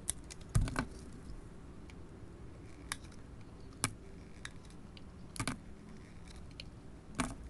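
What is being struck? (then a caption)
Paint-coated soap bar and knife blade. A craft knife blade scrapes and peels the silver and blue paint and copper glitter coating off a small, solid oval soap bar held in the hand. Short, crisp scraping clicks and brief peeling sounds are heard over a quiet low background, with the strongest scrapes near the start, around the middle and at the end.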